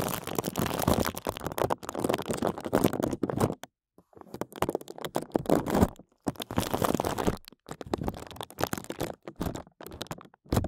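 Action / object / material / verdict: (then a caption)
tap / thin plastic bag over a microphone / plastic / none. Fingertips rapidly tap and rub a thin clear plastic bag covering a microphone, working the plastic around the mic head. Dense, fast crinkling and scratchy tapping comes in close bursts, with a few brief pauses in between.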